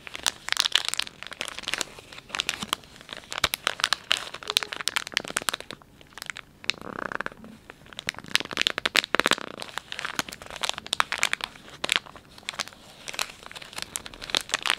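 Fingers and thumbs squeeze and crinkle a palm-sized, filled Dettol wet wipes pouch made of soft plastic film. A dense run of sharp, bright crackles and crinkles continues throughout, with brief softer rustling swells near the middle.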